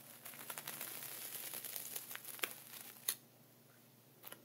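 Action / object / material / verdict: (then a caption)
scrape / plastic zip bag of sea salt / plastic, salt / none. A thin dark wooden pointer traces and scratches diagonal lines through a flat layer of sea salt inside a clear plastic ziploc bag. The result is a continuous bright crinkling, gritty scratch with scattered sharp ticks, then a sudden drop to near silence after about three seconds with a couple of faint late clicks.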